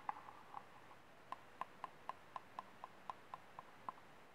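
Painted fingernails tap and scratch the base and ribbed side of a small, empty, ribbed white disposable plastic cup held upside down. Fourteen quiet, hollow, clicky taps ring briefly around 840 Hz with faint bright edges, spaced irregularly and coming steadily after a short pause.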